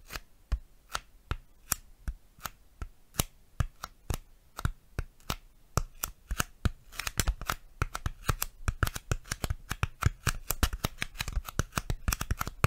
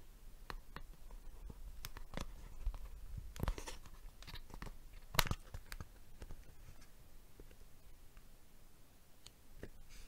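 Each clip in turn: First: styrofoam being tapped. Second: plastic box tapped with fingers.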